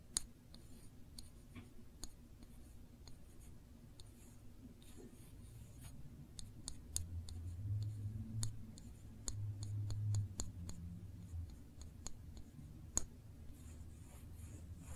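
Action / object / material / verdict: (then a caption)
tap / small glass jar of jam / glass / none. Long nails slowly trace and tap over the label and glass of a small glass jar full of cranberry jam held in one hand. Sharp, bright clicks come at an uneven pace over soft scratchy tracing and a steady low rumble. The taps are quiet and die away instantly, with no ring.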